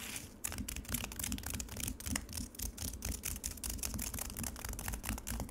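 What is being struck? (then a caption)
Frozen lemonade in a plastic tray. Long nails quickly scratch the grainy, icy surface of frozen lemonade in a black plastic tray. The result is a dense run of rapid, bright, gritty scrapes and crackles over a steady low rumble.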